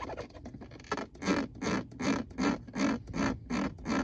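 Fingertips and nails tap and scratch a textured plastic gear selector plate marked P R N D, a flat panel over a hollow console. Light, irregular ticks come first, then about eight steady, rhythmic scratching strokes follow, each a dry, hissy rasp with a slightly hollow low body.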